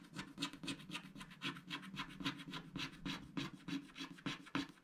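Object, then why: Wax-coated scratch art card scraped with a wooden stylus. A wooden stylus scratches the coating off small animal shapes on a black, wax-coated scratch art sticker sheet, while the fingers of the other hand hold the sheet steady. The result is continuous, dry scratching in a quick, uneven run of short strokes, with a bright, raspy hiss over a faint low body.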